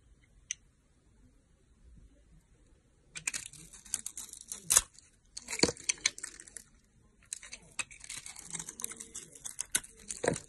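A blade cuts and scrapes the glitter coating off a rectangular solid red soap bar with an embossed logo, held in a hand with long nails. After a near-silent start with one faint tick, three bursts of bright, crisp crackling and scratching follow, each marked by a few sharper, louder cuts.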